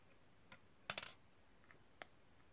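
Long nails tap inside a small, hollow, empty silver metal cigarette case held open, and click its spring clip and hinge. The result is quiet, sharp, bright clicks with almost no ring: a single tap, then a quick rattling cluster, then a few softer, sparser clicks.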